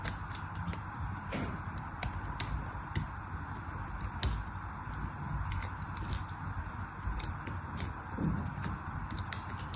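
A small black knife shaves thin slices off a solid pink bar of soap held upright. Soft, crisp scraping ticks come in a steady irregular stream over a quiet low rumble, each brief and dry with almost no ring.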